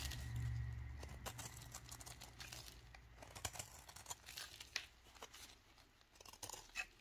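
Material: Soap.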